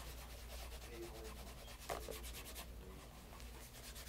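Cloth-wrapped fingers rub polish in circles on the toe of a pebble grain leather loafer, which has a shoe tree inside and is held over a leather mat. Soft, steady swishing strokes repeat over a constant low hum, with a slightly louder, brighter scuff near the middle.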